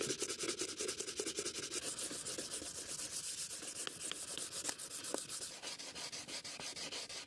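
A gloved hand sands the lid of a closed, hollow antique wooden stamp box with sandpaper, then tilts the box up and rubs its surface. Rapid, uneven back-and-forth strokes make a bright, dry rasping hiss with almost no low end. A few sharper scratches stand out midway through.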